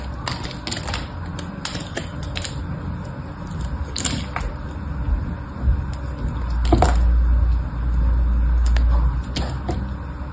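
A solid, palm-sized pink bar soap held in one hand is sliced into small cubes with a utility knife blade, and the soap chips fall onto the pink surface below. Crisp, bright cutting clicks and crackles repeat at a quick, uneven pace over a steady low rumble that swells toward the end.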